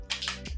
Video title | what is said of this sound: Best Makeup of 2018! | if you can hear it sloshing around the bottle, I'm gonna love it